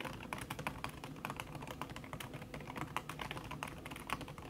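Fast tapping by long red-nailed fingertips on a backlit laptop keyboard in a silver aluminum body, its keys covered by a thin red silicone skin. A rapid, steady stream of soft, short clicks with bright transients over a low hum, with no voices.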